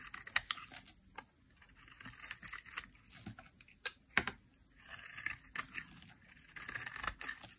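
A small, dry green soap bar held in the hand is carved into curls with a metal knife blade in a shaving scrape, with long nails visible. Bright, dry scraping and crisp snapping ticks come in short bursts with brief pauses, sitting mostly in the high range with almost no low end. The sharp clicks die away instantly.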